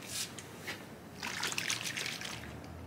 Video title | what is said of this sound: Ancel Battery Tester | if you hear sloshing it's the regular old-school batteries if you don't hear that then it's probably the newer generation batteries